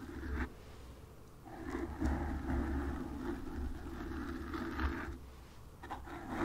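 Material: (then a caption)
Foam. Long nails scratch and tap a black foam windscreen on a microphone. The result is a close, muffled, low rumbling scrape with steady scratching texture, broken by a few louder, brief taps that die away almost at once.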